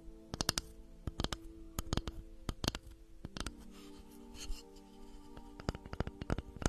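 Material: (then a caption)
Wood. Long manicured nails tap and scratch a flat, round, light-coloured solid wooden board held close to the microphone. The sound is made of sharp, dry clicks in quick clusters over a faint low hum, with a softer scraping stretch in the middle.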